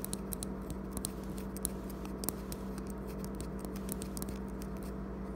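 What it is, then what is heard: Metal vape mod with glass tank. Fingertips tap and scratch along a handheld metal-tube vape mod with a blue graffiti wrap and a clear glass tank partly filled with amber liquid, lying on a wooden table, working near the button and the tank. The result is a quiet series of short, dry ticks and scratchy clicks, each dying away almost instantly, over a steady low hum.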